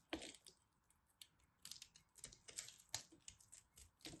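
A knife blade carves a solid pressed soap-flake ball, sending chips flying off the crumbled soap ball. Quiet, bright scraping crackles and sharp snaps come in a series of short bursts, with little low end and almost no ring.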